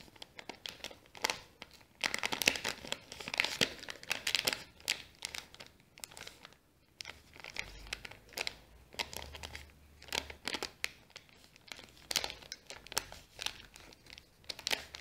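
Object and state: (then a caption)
Kraft paper bag. Long nails scratch and fingers crinkle a small, folded brown kraft paper bag with a sticker on it. A steady run of dry, crisp crackles and scratchy rustles comes in quick bursts, bright and close with almost no low end. Each crinkle stops sharply with no ring.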